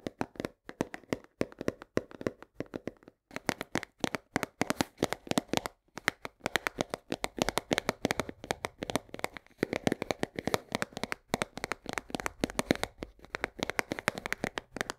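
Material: Cardboard.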